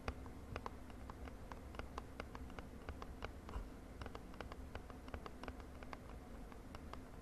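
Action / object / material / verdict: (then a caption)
tap / small cardboard box / cardboard / none. Long nails tap quickly on a small purple printed cardboard cosmetic box held in the hand. Quiet, dry clicks with short bright ticks come in a rapid, uneven stream over a steady low rumble. Each tap dies away almost at once.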